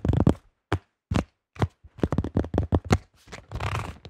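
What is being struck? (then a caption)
Plastic disc golf disc. Fingertips tap quickly on the top of a yellow plastic disc golf disc with a thin shell, making dull, low, hollow knocks that die away almost instantly. The taps come in uneven bursts and clusters, and end with a stretch of light, brighter scratching across the plastic.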